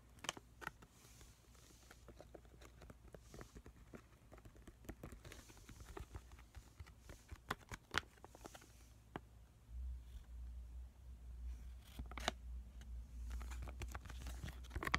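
A small, flat, pomegranate-print sheet mask packet made of crinkly foil/plastic laminate, full with the mask inside, is held in both hands and tapped and squished with short fingernails and fingertips. Quiet, sharp clicking taps and soft crinkles come in scattered bursts over a faint low hum that grows slightly louder in the second half.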